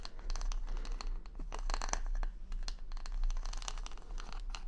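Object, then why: Wooden hair brush back covered in plastic rhinestones. Long nails scratch quickly across plastic rhinestone stickers covering the solid back of a large wooden paddle hair brush held over the microphone. The result is a rapid series of short, bright, crackly clicks and scrapes over a constant low hum.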